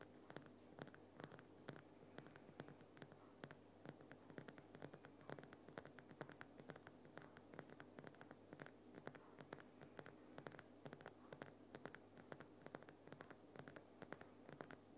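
Fingertips and nails of both hands scratch and tap the rough front face of a Himalayan rock salt lamp, a large solid lump of glowing pink rock salt. A quiet, dense stream of short, dry clicks and gritty scratches runs the whole time, each tap dying away almost at once. A faint steady low hum sits underneath.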